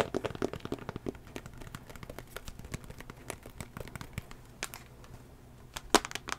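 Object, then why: Tablet with glass screen in a plastic case. Long fingernails tap on the back of a small tablet's solid teal plastic case and then on its glass screen. The result is a steady run of quick, dry, clicky taps with almost no ring, with a few sharper, louder clicks near the end.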